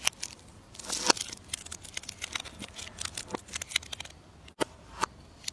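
A metal knife carves a solid purple bar of soap held in the hand, peeling it into curly shavings. The sound is a run of dry, crisp, bright scrapes and crackles with almost no low end, with brief sharp clicks standing out near the end.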